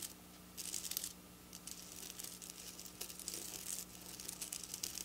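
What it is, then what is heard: Plastic sequin fabric being scratched. Long black nails, tips pointed down, quickly scratch and tap on silver plastic sequin fabric. Bursts of bright, crisp, crinkly scratching rise and fall over a faint, steady low hum.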